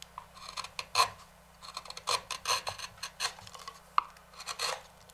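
A wooden-handled knife scrapes the rim of a large, hollow, empty walnut bowl resting on a stopped lathe. Short, dry, raspy scrapes come in uneven bursts, bright and airy with a faint midrange tone, and each one stops dead with no ring.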